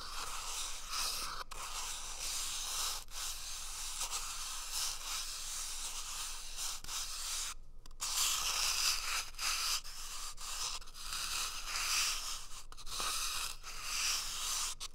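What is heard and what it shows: Fingertips and nails scratch and rub along the surface of an empty, hollow cardboard toilet paper tube that appears wrapped in tape, held beside the left ear of a microphone. The result is a steady, bright, hissy scratching and rubbing texture, with brief dropouts and a short pause near the middle before the scratching resumes slightly louder.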